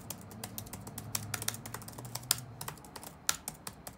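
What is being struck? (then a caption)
Plastic laptop keyboard keys. Fingertips type rapidly on the black plastic keys of an open laptop resting on a wooden desk. Quick, bright, sharp clicks come in an uneven rhythm, each dying away almost instantly, over a faint low hum.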